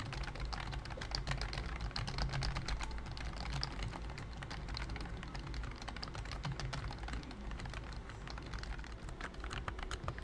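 Both hands' fingertips type steadily on a pink plastic BT21 Cooky full-size computer keyboard with round white keycaps and a hollow body. The result is a dense, continuous stream of quick clacks with a hollow low thump and brighter clicky tops that fade almost instantly.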